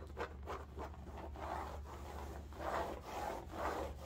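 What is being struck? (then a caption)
Woven fabric bolster pillow. Fingernails scratch and rub a cylindrical striped bolster pillow in woven upholstery fabric, held upright and then laid horizontal. Repeated soft rasping strokes swell and fade in a muted midrange over a steady low hum, with little brightness.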